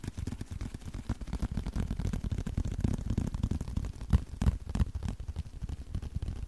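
A small, flat, thin blue leather card wallet is held in both hands and tapped and scratched with the fingertips and short nails. The result is a fast, uneven run of soft, dull, low thuds with very little brightness, a few louder taps standing out near the end.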